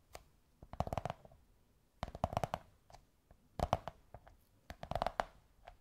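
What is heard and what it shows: Long white nails tap and scratch on a beige kraft cardboard tube in four quick bursts of rapid taps, each with a short, dry, hollow knock that resonates around 730 Hz. Faint scratching fills the quiet gaps between the bursts.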